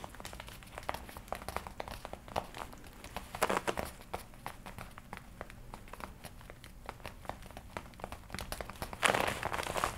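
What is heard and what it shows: Long-nailed fingers scratch and squeeze the shoulders of a worn red and black leather jacket. Quick, bright scratching ticks and dry crinkles run steadily throughout. Denser, louder bursts of crumpling rise around the middle and again near the end.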